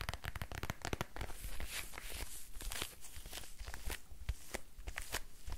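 A small, dark, quilted faux-leather purse, hollow with a squishy textured surface, is held in both hands and rapidly tapped and scratched with fingertips and nails. Quick, dry taps with soft low thumps mix with bright scratchy crinkling, which runs in a dense, steady stream throughout.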